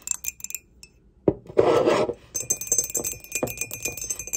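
A glossy grey ceramic mug with an unglazed cream rim and a barcode sticker on its base, hollow and apparently empty, is held in the hands while long pointed acrylic nails tap and scratch along its side and base. Light, quick clicks are followed by a sharp tap and a broad scratchy rub. Dense, rapid clicking with a bright, high glassy edge and a faint ringing tone around 450 Hz closes the clip.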